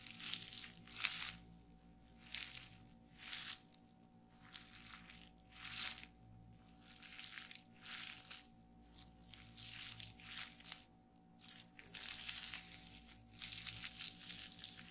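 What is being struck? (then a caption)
Plastic bubble wrap sheet. Fingertips with long painted nails press and pop the air-filled bubbles of a large, flat sheet of clear plastic bubble wrap lying on a wooden table. Bright, crinkly crackles and snapping pops come in short bursts with quiet gaps between them. A faint steady hum runs underneath.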